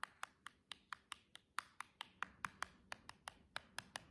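Long jeweled press-on nails from one hand tap along the long edge of a silver cardboard box, making 19 quick, dry, bright clicks with almost no ring. The taps fall at an uneven pace over a quiet background.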